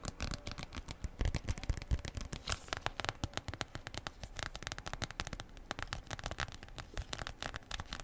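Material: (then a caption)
Plastic foil. A small, thin, flexible flat plastic/foil sachet with a printed back is held up and tapped, scratched and crinkled with long purple acrylic nails, and rings on the fingers may add faint clicks. A dense, continuous run of quick crackly taps and crinkles with bright, papery edges and a soft low thump fills the whole clip at a steady, fairly quiet level.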